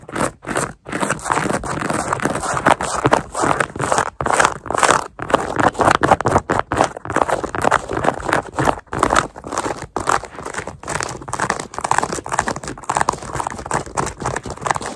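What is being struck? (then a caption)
Synthetic mesh sneaker upper and fabric laces. Long nails scratch and rub across the hexagon-pattern synthetic mesh upper and fabric laces of a black Nike sneaker worn on a foot. The result is a rapid, irregular stream of dry, raspy scraping centered in the midrange, with short crackling bursts and brief pauses between strokes.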